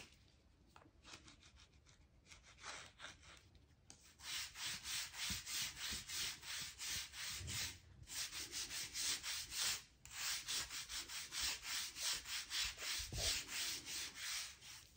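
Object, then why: Oak wooden floorboards. A thin blue-handled scraper is run along the seam between solid oak floorboards on a plank floor, scratching and rubbing the wood to clear dirt and dust from between the planks. Soft, faint scratches give way after about four seconds to louder, bright, hissing back-and-forth scraping strokes at a quick, steady rhythm. Brief pauses come near the eight- and ten-second marks.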